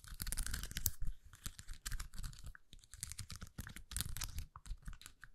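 Long nails scratch across the rows of small acrylic gems on a flexible plastic rhinestone sticker sheet, bent and held in both hands. The result is a dense run of quick scratchy, crinkling clicks with bright crackle over a soft low rumble, rising and falling in short irregular bursts.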